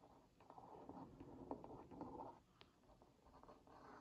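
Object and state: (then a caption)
Cardboard cookie box scratched with a wooden skewer. A wooden skewer tip traces around a printed cookie on a hollow Oreo Mini cardboard box held in one hand. A soft, dry scratching rasp runs steadily in the mids, broken by small ticks and one brighter click near the end, before easing into quieter scraping.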